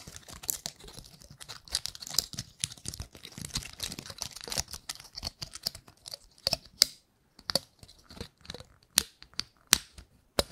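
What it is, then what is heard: Painted pine cone. Long nails flick and scratch the scales of a gold-painted pine cone, making dry, bright crackles and rustles with almost no low end. A dense run of scratching gives way, after about six seconds, to sparser sharp flicks separated by short silences, each snapping off almost instantly.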